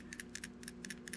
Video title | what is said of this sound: SWIM JIGS And BLUEGILL BEDS (Don't Miss This Bite) | you get that little bitty thump it's subtle